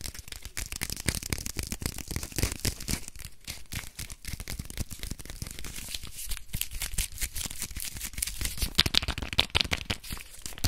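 Fingernails scratch and crinkle the printed paper wrapping of a small, solid bar of soap as it is turned over in the hands. The result is a dense, continuous stream of quick, dry crackles and scrapes with bright, high rustle throughout and a soft low thump underneath, steady for about ten seconds.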